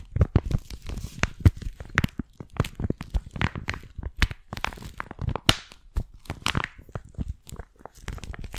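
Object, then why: Thin flexible plastic sleeve over a folded paper map. A folded paper hiking map inside a thin, flat, clear flexible plastic sleeve is held close to the mic and crinkled and rubbed with long painted nails and fingertips. The result is a dense run of sharp, dry crinkles and crunchy tearing-like snaps with bright edges over a soft, low rustle, with no speech.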